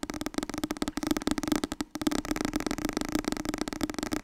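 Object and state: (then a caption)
Paperback book. A medium orange softcover book, "Het nieuwe Wasbord dieet", a solid paper block with a card cover, is tapped fast with long painted nails and fingertips. A dense stream of quick, dry taps with a hollow mid-pitched tone carries on, broken by a brief pause near the middle.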